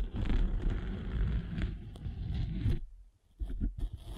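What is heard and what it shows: A derma roller with metal spikes is rolled across the gray abrasive face of a flat rectangular foam sanding sponge with a blue foam core, held in one hand. A low, dense scratchy rumble runs for under three seconds and drops to near silence. A few softer rolling scrapes follow.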